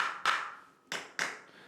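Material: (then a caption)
Flooring. Tapping a spot on a new apartment's floor marked as lifted, found during a pre-move-in inspection, gives three sharp, hollow knocks with a ringing tone around 1.3 kHz and a short decay. Unlike the neighbouring floor, the spot sounds empty, showing that the flooring is not bonded to the base beneath.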